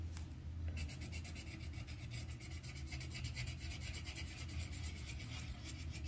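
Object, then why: Wooden colored pencil on paper over a clipboard. The tip of a yellow wooden colored pencil scratches and rubs across a thin white paper sheet on a clipboard while coloring in flower petals. Quick, steady back-and-forth strokes make a bright, papery rasp that pulses with each stroke over a constant low rumble.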